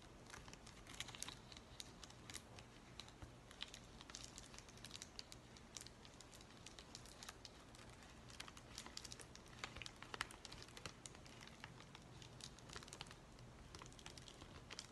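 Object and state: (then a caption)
Plastic bubble mailer. Fingers scratch and crinkle the top edge and flap of a white plastic bubble mailer with a dimpled, padded surface. Quiet, dense, bright crackles and ticks run throughout, with no pauses, over a faint steady low hum.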